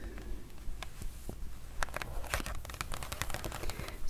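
Long nails tap and scratch on the glossy pages of an open printed paper product booklet lying flat. Quick, sharp, irregular clicks mix with dry scratching and crinkling over a steady low hum.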